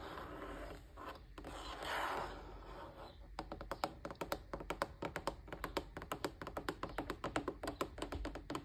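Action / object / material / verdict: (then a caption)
tap / plastic appliance housing / plastic / none. Fingertips and natural nails scratch and rub along the ridged, curved rim of a large, hollow, off-white plastic appliance housing with a vent grille below, possibly a fan or air purifier. This makes a soft, breathy scraping for about three seconds. Then comes a quick run of dozens of sharp, dry, clicky nail taps that die away almost instantly.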